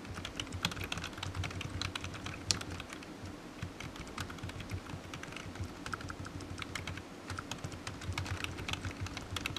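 A low-profile black plastic computer keyboard with hollow keys rests on a desk mat and is typed on with fingertips. The result is a steady run of quick, light, clicky taps with bright key transients over a low hum, each tap dying away almost instantly.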